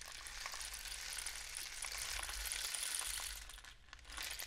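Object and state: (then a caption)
Cardboard rainstick. A long, hollow, painted cardboard rainstick is tilted and raised upright, sending its inner filling cascading down the tube. A steady, bright, rain-like hiss of tiny pattering grains fills the clip, thins out briefly near the end and then swells again, over a faint low hum.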